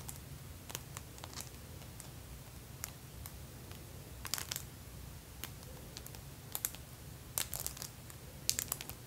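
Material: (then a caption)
Acrylic plastic. Long pink acrylic press-on nails lined with plastic fake teeth on both hands tap and clack against each other. Short, bright, crisp clicks come in irregular bursts over a steady low hum, with each click dying away almost instantly.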